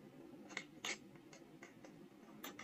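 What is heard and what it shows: A steel carving knife cuts and scratches engraved characters into a small, solid, square soft stone seal block held in the hand. Short, dry, bright scrapes come in a quick series, with one louder, rougher stroke near the middle and almost no ring. The sound is quiet over a faint low hum.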